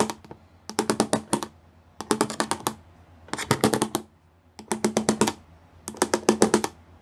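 Several fingertips tap quickly across the bumps of a solid grey plastic panel covered in pyramid-shaped studs. The result is quick, dry, clicky rattles with a bright edge and a faint low hum underneath. The taps come in short bursts separated by brief pauses.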